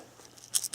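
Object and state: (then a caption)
Polyphosphate cartridge with crystals inside. A water-softener polyphosphate filter cartridge is shaken, and the polyphosphate crystals inside rattle in short, bright, high-pitched bursts in the last third of the clip after a quiet start. The rattle shows the cartridge still holds its polyphosphate media.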